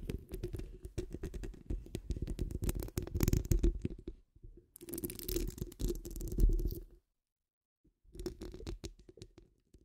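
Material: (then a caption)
Steel mesh. Long nails scratch the rounded, hollow steel wire-mesh grille of a large condenser microphone, then the nail tips of both hands take over. The result is dense, rapid scratching with a heavy, booming low rumble and faint bright hiss. It comes in three bursts separated by short silences.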